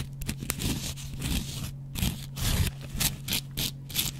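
A double-edge metal razor blade, held in the fingers, scratches the yellow cellulose foam side of a hand-sized, dry kitchen cellulose sponge with a scouring pad. Repeated dry, raspy scraping strokes come in bright, hissy bursts, with short pauses between them. A steady low hum sits underneath throughout.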